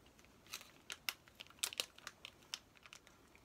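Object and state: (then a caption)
Plastic-wrapped paper activity pack. Fingertips and nails rub, crinkle and tap the plastic wrapper of a flat, plastic-sealed Paw Patrol paper activity play pack while turning it. About 13 quiet, sharp, uneven crackles and taps come through, bright and high with almost no low end, each dying away at once.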